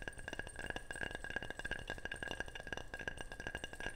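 Rapid, steady tapping on a ceramic object makes a continuous stream of short, bright clinks with a ringing tone near 1.6 kHz. Each tap dies away almost instantly.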